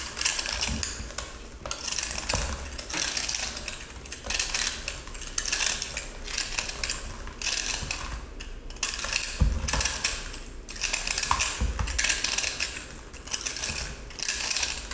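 A small cylindrical block of pressed, dyed salt, blue inside with a silver glitter coating, is held in one hand while a metal utility-knife blade scrapes and cuts into its solid, crumbly surface. Bright, gritty scraping strokes repeat steadily, with short crunchy bursts and occasional low thumps. Grains shave off the block as it is cut.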